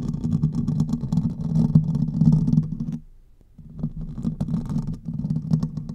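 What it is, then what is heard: Metal mesh microphone grille being scratched. Fingertips and nails of both hands scratch the hollow domed metal mesh grille of a silver condenser microphone. The result is a dense, low, rumbling scrape with faint bright crackles on top. It pauses briefly near the middle, then starts again.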